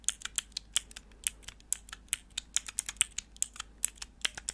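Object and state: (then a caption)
Plastic keyboard switch tester clicked. Long nails click the grey plastic keycaps on a small, hollow, clear plastic mechanical keyboard switch tester with four switches, held in the hands, and scratch its plastic. About 25 quick, sharp, bright clicks sound in an uneven patter, dry and with almost no low end or ring.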